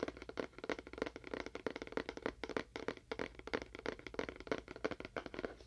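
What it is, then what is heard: Hollow, empty cardboard box. A small, hollow, empty-looking rectangular cardboard box with a faux wood-grain print and a small label is held close and tapped rapidly with fingernails and fingertips. The dense, irregular taps are short and dry, with a hollow, wood-block-like tone around the midrange and little low end.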